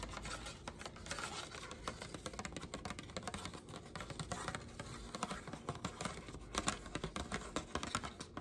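Long black nails tap and scratch a thin pink paper plate, working across both its plain underside and its glitter-coated top. The result is a quick, dense run of small dry taps mixed with rough, bright scratching, each tap dying away almost at once.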